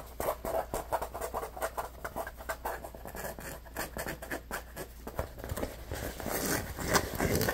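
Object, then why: Neoprene lunch bag. Fingertips and short nails rub and scratch the surface of an orange neoprene lunch bag held against the body. A rapid, irregular run of short, dry scratching strokes and soft pats plays over a faint low steady hum, growing denser and brighter toward the end.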